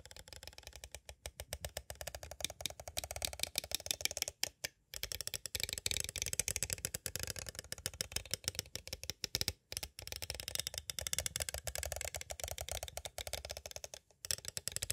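A small, hollow clear plastic cassette tape case with a paper insert is tapped on its sides with two green plastic stick tools. The result is rapid, continuous, dry clicking that is bright and crisp, with very short decay, broken by a few brief pauses.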